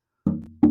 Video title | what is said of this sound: Wayne Henderson Guitar to be Auctioned | just tapping on the back of it, and you can hear it resonate and sound. That's a good sign. It'll be a good sounding guitar.